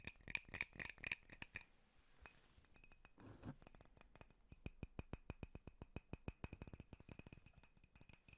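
A drinking glass holding apple juice is tapped, giving a few bright, ringing clinks at first, then a pause with a soft brushing swish. A long run of quick, light, high-pitched taps follows, each one short and dry with almost no ring.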